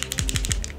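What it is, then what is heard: Conductive lacquer bottle rattling when shaken. A bottle of FLD conductive lacquer, used for repairing rubber keypad buttons on keyboards, calculators and phones, is shaken before use. It gives off a quick series of six bright, clicking rattles over a low rumble of handling.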